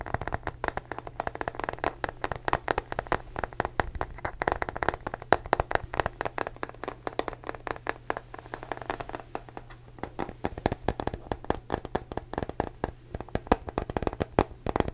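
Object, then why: Small rubberized plastic case. A small hollow blue matte rubberized plastic case is tapped and scratched with fingertips and short nails, making a steady run of dozens of quick, dry taps with soft scratching between them. The taps are short and dull, centred in the mids around 700 Hz with little brightness, and each dies away almost instantly over a faint low hum.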